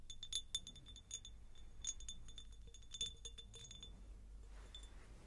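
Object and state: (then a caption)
Glass jar. Fingers tap a textured pineapple-shaped glass jar, producing quick, light clinks, each with a bright, short ring around 3.5 kHz. The taps come in irregular clusters over a quiet, low background hum, thinning out toward the end.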